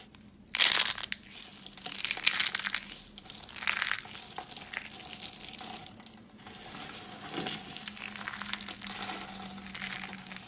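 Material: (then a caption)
Soap. Thin, brittle, dry soap flakes in pink, blue and white are scooped from a pile on a woven mat and crumbled between the fingertips of both hands. This makes bright, crunchy crushing and crinkling. Louder bursts come early in the clip, then the crumbling settles into a softer, steady crackle.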